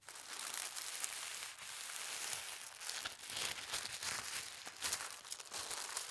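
Fingertips with long red nails press, rub and fold white tissue paper folded into a small flat stack. The result is a steady, bright crinkling and rustling with almost no low end, broken by brief louder crackles and a short dip in level.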